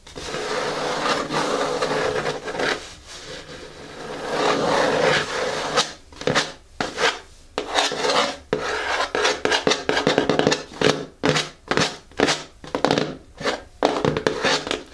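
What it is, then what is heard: Cardboard box, scratched. Long nails scratch and rub the rough paper label on the lid of a closed, hollow, medium-size black cardboard "KICKS" shoe box. A steady, dry rasping fills the first half, then it breaks into a run of short, quick scraping strokes with a papery, mid-to-high texture.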